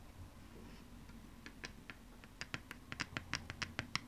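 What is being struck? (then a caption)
Thin plastic optical disc. Long nails tap and scratch the label side of a thin plastic PlayStation 2 game disc held in the hands. A soft scratching texture in the first second and a half gives way to quick, irregular, dry clicks that are bright and die away almost instantly. The taps grow denser and sharper toward the end.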